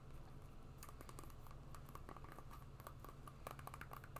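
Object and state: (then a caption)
Rubber shoe sole tapped and scratched with nails. A black and green synthetic sport shoe with a rubber outsole is held sole-up while long nails scratch and tap the rubber tread. Quick, light ticks and scrapes patter over a steady low hum.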